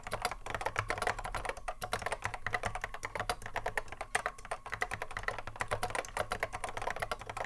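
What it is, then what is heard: Mechanical keyboard typing. A cream Apple M0110A keyboard with a hollow plastic case and Alps SKCC mechanical switches sits on a wooden desk while both hands touch-type continuously. Fast, dense clacky keystrokes overlap in a steady stream, each a short, sharp click with a mid-range tone and little ring, over a faint low hum.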